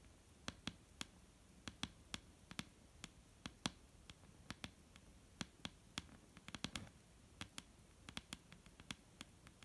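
Long painted nails of both hands tap on a solid, dark brown wooden table top. Sharp, bright clicks with almost no ring come in an irregular rhythm over a quiet background, with a quick flurry of taps partway through.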